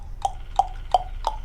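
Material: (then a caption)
Plastic. A plastic Booyah One Knocker lipless crankbait fishing lure in a Tennessee blush shad color is shaken so its single internal knocker weight strikes the body. Four evenly spaced, sharp knocks are heard, each a short clack with a mid-pitched tone near 730 Hz and a bright top that dies away almost instantly. It is a single clean knock rather than the buzzing clatter of a multi-ball rattle bait.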